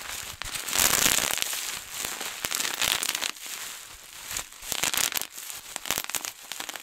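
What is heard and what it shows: A large sheet of clear plastic bubble wrap, rolled into a tube, is squeezed and twisted with both hands. Rapid, irregular bursts of many bubbles pop in dense, bright crackling clusters with almost no low end, rising into louder flurries and then thinning out.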